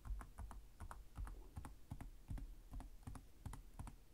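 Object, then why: Plastic laptop keyboard keys. One hand types with its fingertips on the plastic chiclet keys of a black laptop's hollow-chassis keyboard, tapping at a slower pace. The quiet, uneven run of short clicks carries a dull, hollow low thump under each keystroke, with faint bright ticks above and almost no ring-out.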